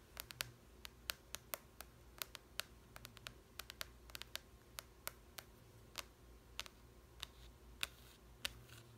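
Long nails tap and scratch the glossy cardboard cover of a large softcover language book. About 29 sharp, bright, dry taps sound at an uneven pace, each dying away almost instantly. Quiet scratching fills the gaps between them.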